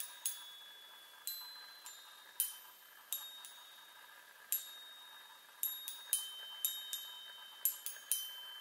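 Long nails tap the hollow metal tubes of a small handheld chime mounted on a wooden frame. Quiet, irregular strikes produce bright, high metallic pings. Each ping has a sharp attack and a thin, lingering ring.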